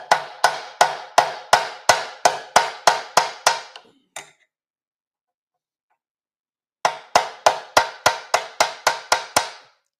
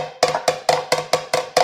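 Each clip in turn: First: Quick, even hammer blows give short, bright metallic smacks that die at once: a solid, dolly-backed aluminum panel. Second: Seven quick metallic strikes ring briefly around 500 Hz, a hollow tone from an aluminum panel with nothing behind it.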